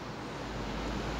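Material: Nothing is struck.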